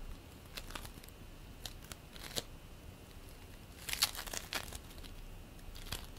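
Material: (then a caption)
Polystyrene beads. Hands stretch apart and squeeze purple bead play foam made of polystyrene beads, producing quiet, bright crackling and sticky tearing sounds. Short crisp crackles come in scattered bursts, with the loudest cluster around the middle of the clip.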